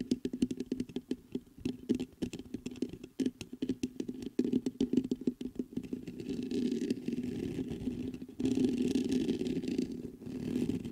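Fingertips tap the body of a black metal USB microphone in rapid, dry clicks with a dull low-mid thump for about the first six seconds. They then scratch its mesh grille in a continuous rough rustle that grows louder and denser partway through.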